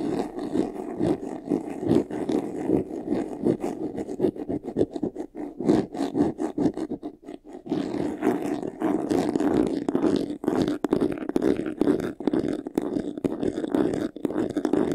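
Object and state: Faux leather jewelry box, hollow.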